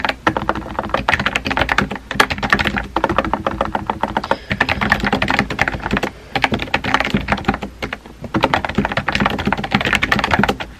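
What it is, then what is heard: Plastic keyboard being typed on. Fingertips type on a compact pink plastic keyboard with round white keycaps, producing rapid, clacky key taps in bursts separated by short pauses. The taps are short and dry with a bright edge, with no voices.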